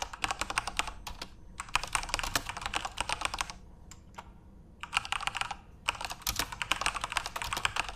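Fingertips type continuously on a backlit plastic Corsair mechanical RGB keyboard. Rapid, bright, clacky keystrokes come in dense bursts, with a quieter pause of only a few scattered taps near the middle before the fast typing resumes.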